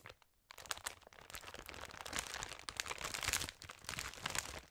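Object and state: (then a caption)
Plastic candy bag being crinkled. A large glossy plastic Haribo sharing bag, full of smaller candy packs, is held in the hands, turned and squeezed so the plastic crinkles under the fingers and long nails. After a short crackle and a brief near-silent pause, a dense, continuous stream of bright, sharp crinkles and crunchy snaps follows, with little low end. The crinkling swells and dips in bursts through to the end.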